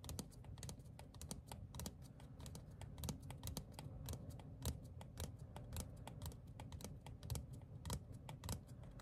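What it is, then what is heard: Paper ticket card. A small, thin printed paper ticket card made of cardstock is held upright and tapped rapidly with fingertips and short nails. The result is a quick, irregular stream of dry, crisp clicks with bright, short-lived transients over a steady low rumble.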